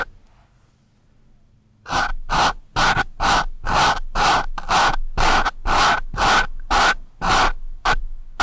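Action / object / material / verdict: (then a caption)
scrape / pencil tip on foam microphone windscreen / foam / none. The sharpened graphite tip of a wooden pencil scratches the porous surface of a dark foam windscreen on a microphone. After about two seconds of near silence, a steady run of short, rasping scratch strokes follows at roughly two per second. Each stroke is a dense, papery hiss centred near 900 Hz that reaches up into the bright highs.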